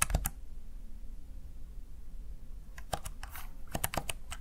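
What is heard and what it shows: Fingertips press the keys of a Razer Tartarus Chroma plastic backlit gaming keypad. A quick burst of sharp, bright plastic clicks opens the clip, followed by a pause with only a low background hum and then another cluster of crisp, short key taps. Each tap dies away almost instantly.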